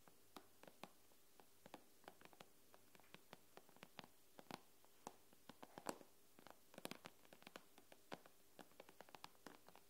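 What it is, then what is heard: Glass tablet screen tapped with nails. Long nails tap and lightly scratch the glass screen of an iPad lying on a wooden table, producing dozens of quick, crisp clicks with bright edges and almost no ring. The taps come at an uneven pace over a quiet, steady low hum.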